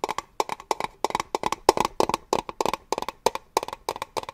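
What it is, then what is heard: Small metal tin tapped. A small, hollow, triangular metal cake-slice tin is held close and tapped rapidly with fingernails and fingertips. It gives quick bursts of sharp, dry clicks with a bright edge and a hollow midrange tone around 380 Hz. Each tap dies away almost instantly, and the bursts have short gaps between them.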